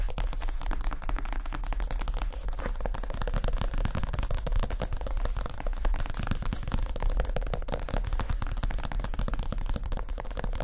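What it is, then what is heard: Padded leather chair seat. Fingertips of both hands tap quickly across the padded, stuffed white leather (or faux leather) seat cushion of a chair and its rounded edge. The result is a dense, continuous patter of soft, dull thumps, heavy in the low end with almost no ring.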